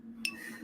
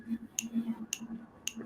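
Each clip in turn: First: A single bright flick with a high, thin ring near 2.6 kHz from a stiff PPS-printed turbine wheel. Second: Three quick, bright flicks that click and stop dead; the printed PETG wheel gives a dry plastic tick, no ring.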